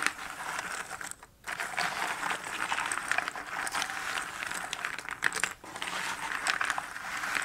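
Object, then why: Cardboard jigsaw puzzle pieces. Fingertips and nails rake, stir and pick through a pile of many small cardboard jigsaw puzzle pieces in a shallow cardboard box lid. The result is a dense, bright rustling with quick crisp clicks and clatters and almost no low end. It breaks off in two brief near-silent pauses, one just after one second and one near five and a half seconds.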